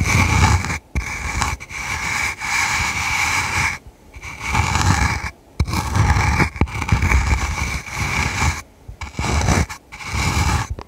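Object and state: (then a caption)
Velvet-covered jewelry box. Long red nails scratch and tap the fuzzy surface of a small hollow jewelry box covered in dark red flocked velvet, held in one hand. Dense, raspy scratching comes in sustained bursts separated by brief silent gaps, with a steady bright hiss over a soft low rumble.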